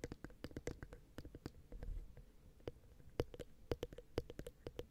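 Long painted acrylic nails tap and scratch the two small ribbed metal capsules of a Zoom H6 XY microphone head on a black recorder. A rapid run of light, dry clicks lands directly on the mic, each with a faint ringing tone in the low-mid range and a soft, boomy low thump, over a quiet background.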